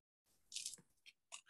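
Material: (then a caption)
Bread crust. The crust of a homemade beginner's baguette, baked in a small home oven, is handled and crackles and crunches in five short, bright bursts. The sound is mostly dry, high-pitched crackling with almost no low end. It shows a really nice, deep crust.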